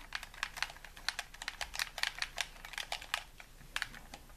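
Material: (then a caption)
Plastic. A hollow white plastic game controller is held in both hands while its buttons are rapidly tapped and clicked with thumbs and fingertips. The result is a quick, irregular run of short, bright plastic clicks with almost no ring, set over a quiet background.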